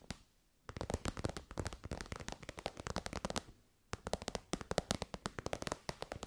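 Long white nails rapidly tap the end and side of an elongated, shiny pink metallic faux-leather pouch that is soft and hollow. After a single opening tap, two quick bursts of dry, clicky taps are separated by a brief pause. Each tap has a muted midrange body with a bright edge and dies away almost instantly.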